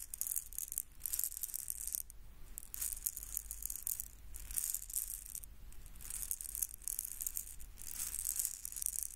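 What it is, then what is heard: Plastic egg shaker. A small red hollow plastic egg shaker filled with beads is held in one hand and shaken close to the microphone. The beads make a quiet, bright, high rattling hiss in repeated bursts with short pauses between shakes, over a low background rumble.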